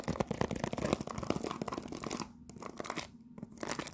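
A cellophane-wrapped cardboard tea box, held in both hands, is scratched with long nails, giving rapid, dense crinkly scratching and crackling with short sharp bursts. The scratching thins into quieter pauses around the middle and just past three seconds, then picks back up at the end.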